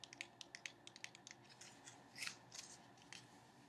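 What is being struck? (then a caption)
Small cardboard card box tapped with fingernails. Long painted nails tap and scratch a small sealed cardboard playing card box held in the hands. A quick run of sharp, bright clicks opens the clip and gives way to softer, denser scratching with a papery hiss. The sounds are quiet and dry, centred high around 1.9 kHz, and each tap dies away almost at once.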